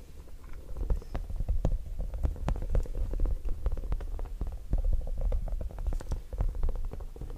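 A small, soft and squishy yellow spiky rubber or silicone puffer ball is held in one hand and squeezed and rubbed by the fingertips of the other hand near the microphone, without touching it. The result is a steady low, muffled rumbling scattered with many quick soft squishy taps and pops that come in irregular bursts throughout.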